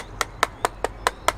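Six knuckle knocks on the soft matte plastic housing of a GOSPACE SuperCloud wireless storage device give short, dry taps. The housing sounds hollow, and the plastic feels cheap and substandard for the price.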